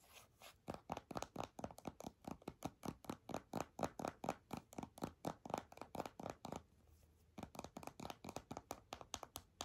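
A small, full, purple printed plastic squeeze tube of hand cream is held upright and tapped and scratched with long fingernails. Quick, dry, scratchy strokes repeat in a steady run of about forty short bursts, centered in the midrange around 500 Hz to 1 kHz. There is a brief pause just before the seven-second mark, then the strokes resume.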